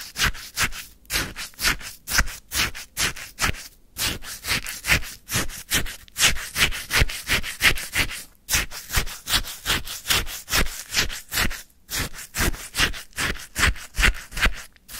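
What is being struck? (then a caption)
Frozen lemon sherbet in a paper cup, scraped with a wooden stick. A wooden stick scoops and stirs icy frozen lemon sherbet in a white paper cup. It makes about 38 short, crunchy scraping strokes in a fairly steady rhythm, each a bright, gritty burst with brief pauses between.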